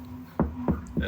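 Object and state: Hollow drywall.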